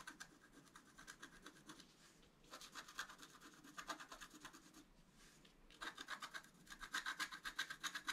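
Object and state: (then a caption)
Scratch art card being scratched. A wooden stylus makes fine scratch strokes on the flower design of a flat, black-coated scratch art paper card. Quick, bright, raspy scrapes come about four per second in three bursts, separated by short pauses near 2 and 5 seconds. The final burst is the loudest and brightest.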